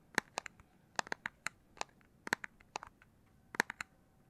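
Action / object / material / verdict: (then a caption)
tap / handheld game console, plastic casing / plastic / none. The plastic back casing of a Nintendo Switch Lite handheld game console is tapped in an uneven rhythm, about fifteen separate taps. Each is a short, dry, clicky knock with a bright plastic tone centered near 1.7 kHz, almost no low end and no ring. The taps are quiet and sit over a faint low hiss.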